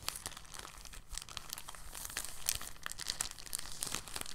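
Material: Plastic.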